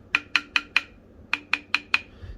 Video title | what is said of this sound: Ibanez GSR200 Neck Repair | that ping sound that's what you want to hear because what that basically means is now the fret is coupled with the neck